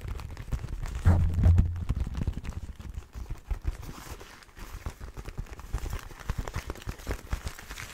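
Fingertips rub and scratch the armoured back and leather of one empty black and red leather motorcycle glove held in the hands. The sound is a dull, low, irregular scratching and rustling, loudest in a burst early on and then softer and patchy to the end.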